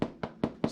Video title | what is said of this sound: Bread by Julie | hear a hollow sound just pretty much you can tell that it's done